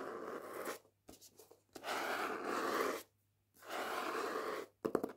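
Long painted nails scratch and rub the matte paper dust jacket on the front and back of the hardback book "Jews Don't Count." Three long, soft, hissing strokes are broken up by short scratchy bursts. The rubbing carries a papery rasp centred in the mids with little deep low end.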